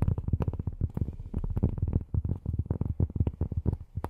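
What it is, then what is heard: Cork tapped with fingernails. Long fingernails tap rapidly and unevenly on cork, making a quick run of soft, muffled, low thuds. Each tap is dull and dies away almost at once, with no bright ring.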